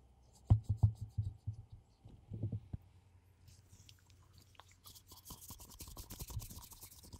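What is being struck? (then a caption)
Ceramic mug. A hollow black glossy ceramic mug held in gloved hands is scratched and rubbed with gloved fingertips. Soft, low, muffled taps and thumps come first, then turn into a denser, brighter scratchy rubbing toward the end.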